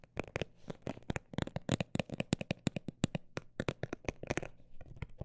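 A textured cosmetic bag is tapped with about 28 quick, uneven taps in a fast-and-slow rhythm. Each tap is a short, dry, crinkly click with a soft low thud underneath and no ring. The result is a papery, shuffling-like texture at a low level.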